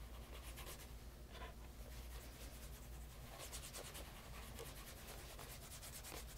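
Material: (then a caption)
Leather. Cloth-wrapped fingers rub the toe and side of a light brown, pebble grain leather bespoke loafer fitted with a wooden shoe tree and resting on a leather lap mat. The result is a quiet, steady, soft rubbing with repeated bright, brushy swishes over a low, constant hum.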